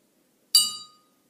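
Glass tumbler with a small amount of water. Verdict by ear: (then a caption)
Nearly empty. A drinking glass holding only a little water is tapped once, giving a single bright, high-pitched clink that rings briefly and fades within about half a second. The small amount of water makes the pitch higher, since there is less water slowing the vibrations.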